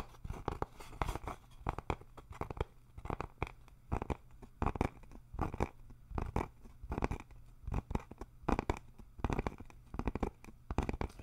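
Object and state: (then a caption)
Thin wooden sign, solid board. A flat rectangular wooden sign with RELAX lettering, roughly 30 cm tall and made of a solid thin board, is held upright in both hands and tapped and scratched with the fingertips and nails. The result is irregular bursts of dry, dull taps and scratchy rasps, weighted toward low frequencies with very little high brightness. Each hit dies away almost instantly.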